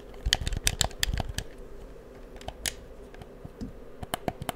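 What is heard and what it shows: Fingertips click the buttons and sticks of a hollow, black plastic PS4 controller held in the hand close up. A run of sharp, dry plastic clicks and taps comes in uneven bursts, each bright and gone almost at once, over a faint low hum.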